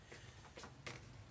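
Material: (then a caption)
Carbon graphite. Knuckle knocks on a carbon graphite racket frame produce three short, light, hollow taps with a brief ring. The hollow sound indicates the frame is empty inside, which fits its very light weight.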